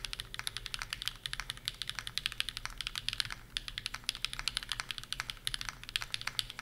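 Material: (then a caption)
Aluminum, plastic. A Bear65 v2 65% mechanical keyboard with PureBerry on an aluminum plate and plastic keycaps is typed on at full speed with the fingertips of both hands. The keystrokes come as a dense, continuous stream of short, bright clacks with very little low end and almost no ring after each press.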